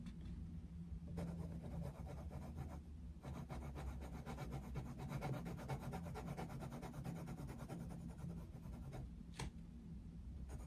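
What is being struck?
Paper colouring book page scratched by a wooden coloured pencil.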